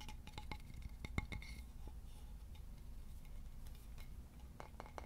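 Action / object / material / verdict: tap / polished wooden board / wood / none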